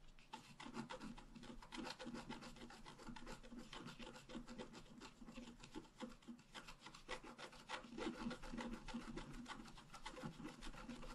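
A wooden stylus scratches the upper part of a tree design into a flat, black-coated scratch-art card. It makes a quiet, dry, rasping scrape in quick, uneven strokes, with bright, gritty texture over a soft low rumble.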